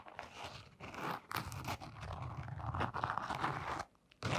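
Long nails scratch a blue canvas sneaker along its fabric upper and brown rubber sole, making dense, crunchy scratching and scraping with short bright bursts. The sound runs almost continuously, drops to near silence briefly, then resumes.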